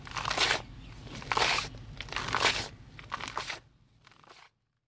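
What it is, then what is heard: Gym chalk block being crumbled. A bare hand presses, rubs and crumbles a large gray gym chalk block that is solid and powdery, with loose powder falling off its dusty surface. Bursts of bright, dry crunching and crackling come in uneven waves, loudest near the start and middle. They fade to softer crumbles before the sound stops.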